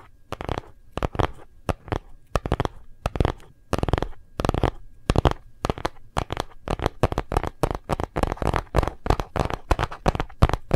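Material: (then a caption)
Plastic. Fingertips and nails of both hands tap rapidly on a phone in a hard plastic gold-print case. The taps come in quick bursts with short pauses between them. Each tap is dry and clicky with a low, hollow thump underneath, and it dies away almost instantly.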